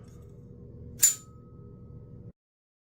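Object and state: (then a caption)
Long-ringing folding knife blade. A steel folding knife is struck once, giving a bright, high metallic ting over a low background rumble. A thin tone around 1.2 kHz keeps ringing well after the hit, lasting much longer than it does on other knives.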